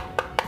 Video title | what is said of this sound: Perbandingan 3 Powerbank Murah 10.000mAh I Bagus Yang Mana? | kalau kita goreng nih oplak nih ada bunyinya gitu